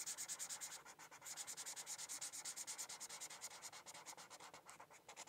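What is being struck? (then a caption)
Felt-tip marker on a thin paper sheet over a hard book. The felt tip of a white marker rubs across a thin paper coloring sheet resting on a hardcover book in steady coloring strokes. It makes a quick, rhythmic, bright scratchy swish that pulses with each back-and-forth stroke and has almost no low end.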